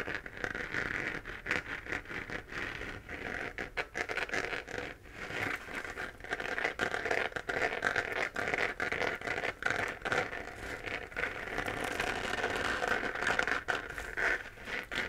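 Fingernails tap and scratch the textured surface of a hollow, pink-lit, 3D-printed plastic moon lamp. The result is a steady stream of quick, dry scratches and light pattering taps, with a hollow, papery tone centered around 1.4 kHz and little low end.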